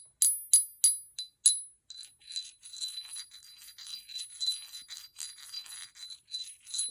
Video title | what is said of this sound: Lemurian Cathedrals, Leilanis, Smokey Phantoms, and roots | It rings. Oh my goodness, it's got a huge spread between the tones.